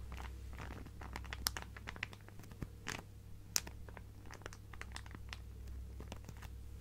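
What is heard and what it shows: A clear plastic zip-lock bag full of fabric scraps is held sideways and squeezed and scratched with fingertips. The result is soft, irregular crinkling and crunching with sharp, bright crackles scattered throughout, over a steady low hum.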